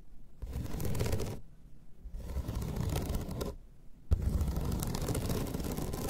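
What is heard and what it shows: Long pointed red nails scratch across the slats of a flat bamboo slat placemat resting on a table. Three scraping passes are heard, each a dense, ridged rasp with a strong low rumble and a faint bright edge, separated by short pauses.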